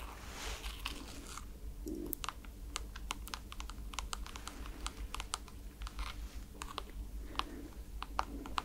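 Long nails tap on a white NASA rubber foam slide slipper held upright, hitting its holographic plastic strap and foam sole. A steady run of quick, dry, bright clicks with very short decay sounds over a faint low hum, with a few brief soft scratchy rustles between the taps.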